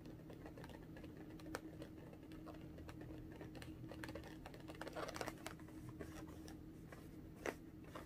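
Long orange-painted nails tap a small pink inflated latex balloon, hollow and air-filled, held in both hands at chest height. A steady stream of quiet, quick clicking taps sits over a low steady hum, with a few sharper, louder taps standing out.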